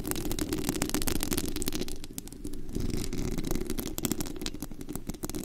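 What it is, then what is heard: Metal mesh microphone grille, scratched. Long acrylic nails scratch and tap across the bare white metal mesh grille of a desktop condenser microphone with a hollow head on a rhinestone body, picked up at very high mic gain. Dense, irregular clicks and sharp ticks sit over a heavy low rumble and a steady mid hum, with a brief softer dip near the middle.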